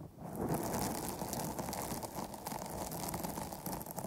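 Long nails from both hands scratch and tap along the top and sides of a dark, soft, porous foam microphone windscreen. A dense, steady crackling rustle is heard, mostly low and muffled, with faint brighter flecks throughout.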